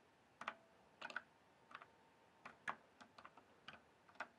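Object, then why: Plastic mechanical keyboard. Fingertips tap the keys of a full-size RGB backlit plastic mechanical keyboard with a hollow case, in an irregular run of short, quiet keystrokes. Each press is a brief, dry clack centered in the mid range with bright edges and almost no ring, some coming in quick pairs and triplets.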